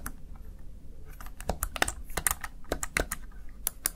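Fingertips press the keys of a Razer Tartarus Chroma plastic gaming keypad, producing a run of short, dry plastic clicks with bright tops over a low background hum. The presses come at an uneven, typing-like pace.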